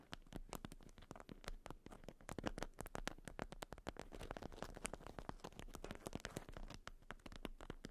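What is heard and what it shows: A watermelon-print beeswax-coated cotton food wrap, bundled around a round item resting on fur, is scratched with long almond-shaped nails. Quick, dry scratching and crackling strokes come in a dense, uneven run, with a low, soft body and faint bright edges.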